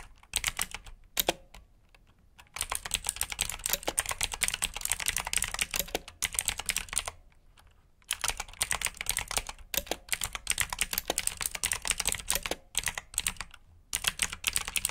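Fingertips type on the keycaps of a black plastic backlit mechanical keyboard with blue switches, producing rapid, bright, clicky keystrokes. The typing comes in bursts separated by short pauses.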